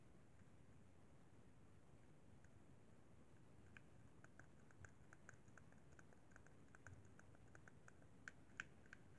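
An index fingertip taps the thumbstick and buttons of a hollow, white plastic Xbox 360 controller, making quiet, irregular clicks with a pitch near 1.5 kHz and a bright edge. The clicks come sparsely at first, then more often from about four seconds in, with two louder taps near the end. A steady low rumble sits beneath them throughout.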